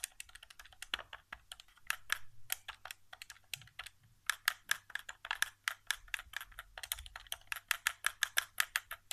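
Fingertips tap the face buttons and thumbstick area of a white, hollow plastic PS4 controller resting on carpet. The result is dozens of quick, dry, clicky taps with a bright plastic edge and a tone around 1.7 kHz. The taps come in uneven bursts, and each one dies away almost instantly.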